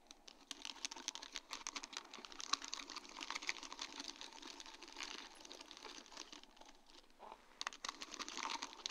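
Long dark-painted nail tips tap and brush across a sheet of large round faceted acrylic rhinestones set on a plastic mesh backing. It makes a quick, steady patter of light, bright clicks with no ring.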